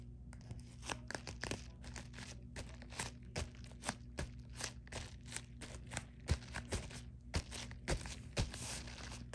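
Long nails scratch and tap the flat face of a white padded poly mailer with a bubble texture. Quick, dry crinkling taps and scratchy bursts that reach into the high range repeat irregularly over a steady low hum. Each sound cuts off almost at once, with no ringing.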